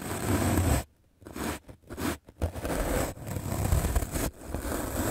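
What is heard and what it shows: A medium black-bristle paint brush is scrubbed fast and aggressively across a white rectangular magic eraser block of solid melamine foam held in the hand. The result is dense, scratchy, hissing bristle strokes with a rumbly low end, coming in several bursts separated by brief silent pauses.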